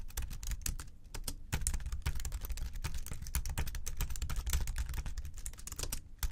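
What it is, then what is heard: Plastic keyboard keys. Both hands type quickly with the fingertips on the plastic keys of a slim white keyboard on a desk. The result is a dense, continuous run of short, dry clicks and taps with a low thud beneath each keystroke, with no pauses long enough to separate the individual hits.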